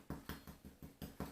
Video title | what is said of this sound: Baking Homemade Bread! | If it feels hollow, then it's done.